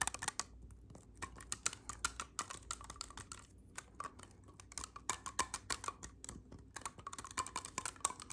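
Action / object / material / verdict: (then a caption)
tap / clarinet with metal keys / metal / none. Fingertips press and click the silver metal keys and pads of an assembled black clarinet, a hollow black tube held in both hands. Quick, irregular bursts of short, dry clicks and taps with a bright edge patter over a faint low hum, with brief quieter pauses between the flurries.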